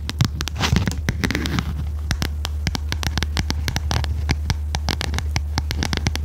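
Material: Cardboard.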